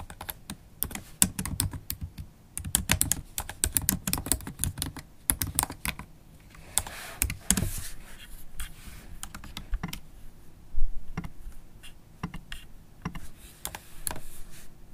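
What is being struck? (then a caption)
Laptop keyboard with plastic keys. Long, pointed holographic acrylic nails tap the small, thin, solid black plastic keys of a MacBook Pro keyboard in an aluminium body while typing. The result is a fast, uneven stream of short, dry clicks with brief pauses, mostly low thumps plus a little bright tick. One louder clack stands out near the end.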